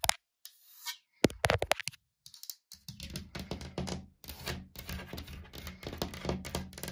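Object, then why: Laminated wooden cabinet door. Long dark-painted nails tap and scratch a large, solid, flat wood-grain laminated cabinet door panel with a gap between its two doors. Quick, dry taps with almost no ring are heard first, with pauses between them. A steady stream of scratching and dense tapping follows, with low thuds and bright clicky edges.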